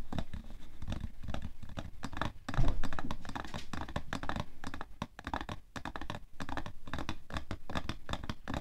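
Fingernails scratch the front of a printed cardboard tissue box with a plastic-film slot, hollow and full of tissues, resting on white fur. Quick rough scratching strokes come in dense runs with short pauses. The sound is dull and low-heavy, and it gets louder around the third second.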